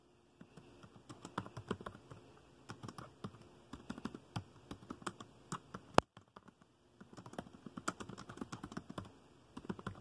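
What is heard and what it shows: Fingertips tap the keys of a dark plastic laptop keyboard at a slower pace, making soft, dry clicks that stop dead with no ring. One sharper, louder click lands near the middle, followed by a short silence before the tapping resumes.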